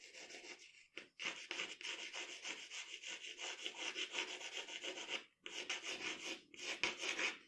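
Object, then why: Graphite pencil on a paper sheet. A pencil shades the lips area of a portrait on a sheet of drawing paper with dense rubbing strokes. It makes a steady, bright, scratchy hiss centered around 2 kHz, with almost no low end, broken by brief pauses near 1, 5.4 and 6.5 seconds.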